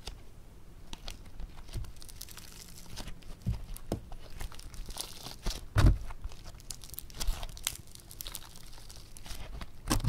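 Yellow foam clay (floam) studded with tiny foam beads is stretched into a thin sheet and torn apart by both hands using the fingertips. The solid, soft material gives off a steady, close crackling and tearing, with short bright snaps and crisp pops throughout.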